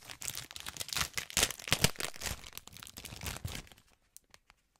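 Fingertips crinkle, pinch and rub the thin film of a clear plastic cellophane bag of heart marshmallows, held up and flattened in the hands. Dense, bright crackling and crinkling runs for about three and a half seconds, peaking in sharp bursts. It then thins out to a few isolated soft ticks before falling silent.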